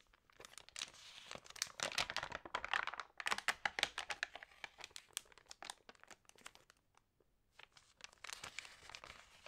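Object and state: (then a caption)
Thick paper magazine pages crinkling. Hands turn the pages of an open thick-paper lifestyle magazine and rub them with fingertips and long nails. Dense, bright crinkling and papery swishes come in irregular bursts of quick, dry snaps, with a brief quiet pause before the rustling resumes.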